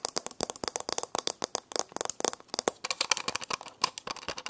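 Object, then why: Small metal alarm clock with a glass or plastic face. A small round alarm clock with a grey metal-looking case and a glass or plastic face is held in one hand and tapped and scratched around the rim and face with long painted nails. Fast, sharp clicks with very short ring come in a dense, uneven stream, bright and thin with almost no low end.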